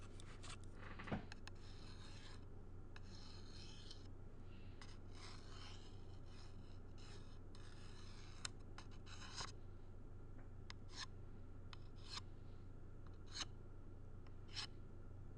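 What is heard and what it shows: A thin pen-like tool scratches and traces across a small black-framed shadow box with a tan board and metal parts. Soft, rasping strokes come in irregular bursts, with occasional brighter, sharper scratches. A steady low hum runs underneath throughout.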